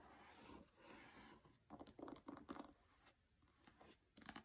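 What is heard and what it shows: Long red nails and fingertips scratch and tap the glossy cardstock cover of a small, solid, closed paperback copy of "Mistborn" lying flat on carpet. A soft, steady papery scratching gives way to a series of brief, sharper scratch-and-tap bursts with a crisp, bright edge that die away almost instantly.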